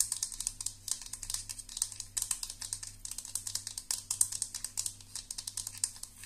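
Long nails tap the cap and scratch the bristles of a perforated metal round hairbrush barrel, making a fast, steady stream of sharp, bright clicks and scratchy rattles. Each tap is short and dry and dies away almost at once, over a faint low hum.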